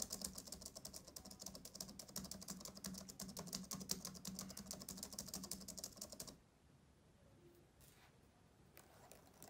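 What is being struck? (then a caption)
Plastic laptop keyboard keys. Fingertips type rapidly on the plastic keyboard of a black laptop, producing a dense run of light, bright clicking taps with a low hum underneath for about six seconds. The typing then stops, leaving near-quiet with only a few faint soft sounds.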